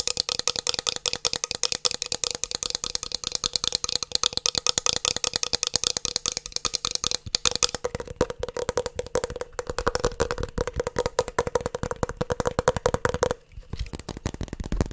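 A 3.5-inch metal hard disk drive with a green circuit board, held close up, is tapped rapidly with fingertips and nails, with some rattling from handling. The dense, sharp clicks are bright and crisp at first, with a faint steady hum near 500 Hz throughout. After about eight seconds the taps turn duller and less bright.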